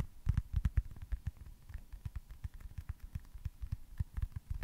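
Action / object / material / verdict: tap / foam baseball-shaped stress ball / foam / none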